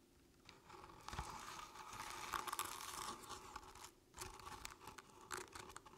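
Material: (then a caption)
Crinkled paper. Long painted nails scratch the ribbed surface of a medium artificial jack-o'-lantern covered in crinkled orange paper with a felt face. The result is a dry, crackly papery scratching in uneven bursts with bright, rustling texture, briefly pausing near the four-second mark before resuming.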